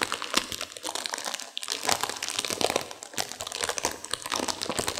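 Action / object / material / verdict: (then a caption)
scrape / plastic instant noodle wrapper with dry noodles inside / plastic / none. A sealed plastic instant-noodle packet with dry noodles inside is squeezed and crinkled by hands and long nails to crunch the noodles. Dense, bright crinkling of the wrapper mixes with sharp, short crunches and snaps from the noodles, with brief lulls near 1.5 and 3 seconds.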